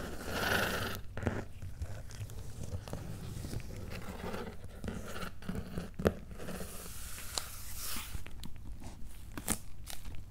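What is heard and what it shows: Fingertips and nails scratch and tap the paper labels on a medium, closed, hollow corrugated cardboard shipping box. A steady, low-heavy rustling scrape runs throughout, broken by short dry taps and a few sharper bright clicks that die away almost instantly.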